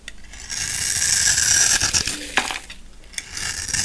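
A black utility knife blade shaves and scrapes thin layers off the edge of a solid, hand-sized, new orange soap bar with an embossed top, held in one hand. The scraping makes a bright, crisp, hissing rasp that swells and fades, broken by a few sharp clicks and ticks. The blade leaves grated soap shavings.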